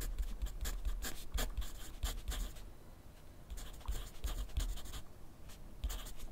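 A wooden graphite pencil writes continuously on a sheet of lined paper clipped to a flat clipboard on a wooden desk, its tip scratching across the paper. Short, bright, scratchy strokes come in quick bursts over a low, dull rumble, easing into a quieter stretch around the middle before the writing picks up again.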